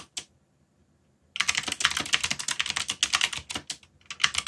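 Fingertips, one of them bandaged, type on a full-size black mechanical keyboard with a yellow backlight and Korean/English plastic keycaps. Two quick keystrokes are followed by a second of silence, then a steady run of rapid, bright, clacky key presses with very short decay.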